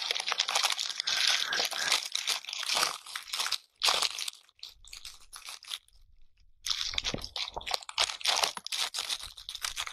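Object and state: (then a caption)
Natural bristle bath brush scratched on a surface. A hand rubs and scratches the bristle tufts of a pale natural bristle bath brush across a transparent surface, close up. It makes dense, bright, crinkly scratching in quick bursts, with almost no low end. The sound drops to a faint rustle briefly near the middle, then the scratching picks back up.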